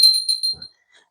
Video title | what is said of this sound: 1st YouTube Video - 2024 Favorite Thrift Finds | it rings nice it sounds nice